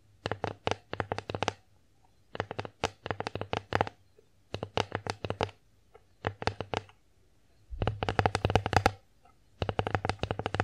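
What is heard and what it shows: Long nails tap and scratch across the face of an empty wooden bear-shaped plate. The sound comes in bursts of quick, dry clicks and ticks with a low hum underneath. A denser, louder run of tapping comes near the end.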